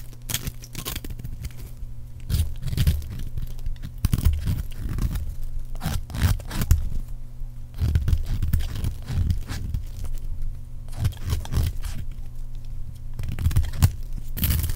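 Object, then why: Bar of soap. A metal blade scrapes thin shavings off the edge of a solid, palm-sized green bar of dry soap with an embossed logo. The result is a steady series of dry, crunchy scraping and tearing strokes, each a short burst with bright crackle over a heavy low rumble. Brief quiet gaps fall between the strokes.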